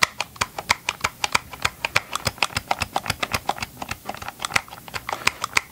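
Gloved fingertips tap rapidly on the hollow plastic housing of a Ryobi chainsaw held close to the microphone, about 36 short taps in under six seconds. Each tap is a dry, bright click with almost no ring and very little low end, giving a quick, hollow plastic patter.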